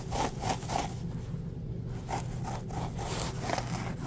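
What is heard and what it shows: Fingertips rub and scratch a full roll of embossed white paper towels with a cardboard core. Quick, uneven papery strokes come in soft bursts over a steady low hum. A brief quieter lull falls mid-clip before the scratching resumes.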